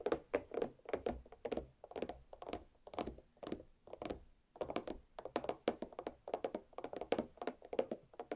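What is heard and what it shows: A large green-striped watermelon half, resting cut side down on a plate with solid flesh inside, is tapped with the very long black pointed nails of both hands. The result is a quick, continuous flurry of short, dry thunks and clicky taps in bursts, each with a hollow midrange tone around 520 Hz and almost no ring.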